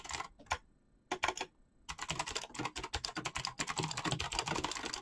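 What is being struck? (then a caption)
Mechanical keyboard with PBT plastic keycaps. Fingertips type fast on a black mechanical keyboard with clicky switches and PBT plastic keycaps. A few separate keystrokes with short pauses give way to a rapid, steady run of bright, crisp clicks and clacks, each one dying away almost at once.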